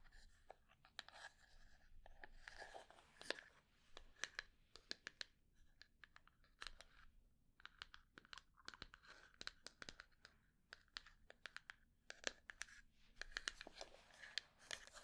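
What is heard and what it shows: Long dark nails scratch and tap the top and edges of a small, closed, rectangular hollow wooden box with natural grain, held in the hands. Quick, dry, bright taps that stop almost instantly are interspersed with raspy scratching bursts, all carried by a hollow tone around 1.7 kHz.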